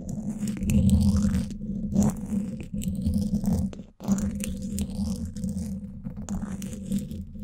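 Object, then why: Woven steel mesh microphone grille scratched with thin wooden sticks. Two thin wooden sticks scratch both sides of the woven steel mesh grille on the hollow dome of a Blue Yeti microphone. The result is a continuous, dense, low rumbling scrape with faint bright scratchy streaks. It briefly cuts out just before the 4-second mark, then resumes.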